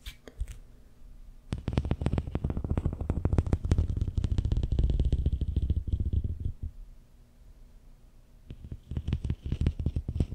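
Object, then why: Ribbed plastic corrugated tube. Fingertips and nails scratch along the ribs of a long, hollow, empty pink-and-white corrugated plastic tube held horizontally in front of the mic. They produce a rapid, irregular run of low, rumbling ticks, dense and loud from about 1.5 to 6.5 seconds. After a quieter stretch, the ribbed clicking picks up again near the end.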